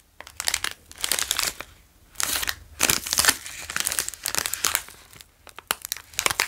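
A full, long plastic wrapper of a Wasa pizza cracker sandwich is held in both hands and crinkled and rubbed with the fingers. Bursts of bright, crackling plastic crinkles rise and fade with short quiet gaps between them.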